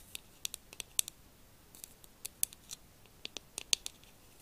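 A hollow, pink, glossy plastic fox-shaped figure held in one hand is tapped with the long acrylic nails of the other hand. About fifteen quiet, sharp, bright clicks come in an irregular rhythm, each dying away almost at once with no low body to the sound.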